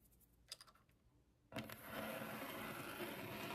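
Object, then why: Laminated desk top. Long acrylic nails on both hands tap and scratch a flat, solid white laminated desk top. A few light, bright clicks come early over a quiet background, then a sharp onset leads into dense, steady, hissing scratching that continues to the end.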